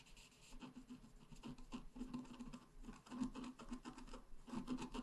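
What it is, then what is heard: Scratch art paper being scratched. A pointed wooden stylus scratches across a flat, black-coated scratch art card about A4 in size. A quiet, dry, continuous scratching is heard as a series of short rasping strokes, with a soft low-mid tone around 260 Hz and little high brightness.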